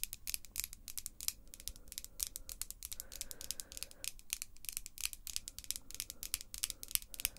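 Long, glossy pink acrylic nails, small and solid, are clicked and tapped nail-on-nail by both hands. A quiet, rapid, uneven stream of sharp, bright clicks, each dying away almost instantly, plays over a faint low hum.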